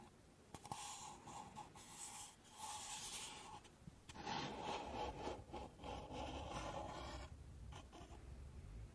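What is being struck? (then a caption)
Stacked paper cups. Long nails scratch and rub along the walls of a stack of empty pink paper cups held sideways. Dry, papery scraping in uneven strokes carries a bright hiss and a steady ringing tone just under 1 kHz, with brief pauses between bursts.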